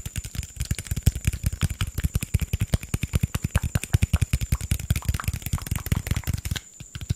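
A hollow green PET Sprite bottle, held upright, is tapped rapidly with fingertips and nails. The result is a fast, uneven stream of short, dull, low thumps with brief bright clicks on top, and a faint steady high tone runs underneath. The taps pause briefly near the end.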